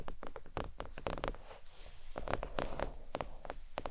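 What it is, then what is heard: Faux leather desk mat. Long nails tap on a thin, flat, red stitched faux leather oval desk mat lying on a towel. The taps come as quick, soft clicks with a dull low body and a brief bright edge, stopping almost instantly with no ring.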